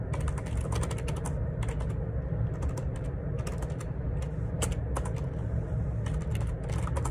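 Fingertips type on the plastic keycaps of a black plastic ergonomic split keyboard, a wireless Bluetooth Perixx Periboard 612, lying on a grey laminate desk. Quick, short key clicks with bright ticks sit over a steady low rumble, and the hollow housing gives the presses a dull thud.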